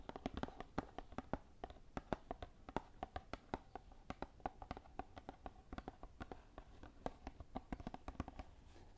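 Long nails tap quickly on the top edge of a small green Lord Nelson cardboard tea box, hollow with tea bags inside, held up in front of the microphone. Dozens of short, dry, hollow clicks with a mid-pitched knock follow one another irregularly over a soft low background. Each tap dies away almost instantly.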